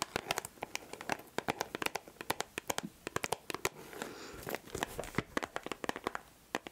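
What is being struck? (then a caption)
Small glossy cardboard box. A small glossy printed cardboard perfume gift box bearing a portrait image, probably with the perfume inside and possibly still in its cellophane wrap, is held in one hand close to the mic and scratched and tapped with long acrylic nails. Dozens of quick, dry, bright clicks and taps ring out, with a denser scratchy crinkle partway through.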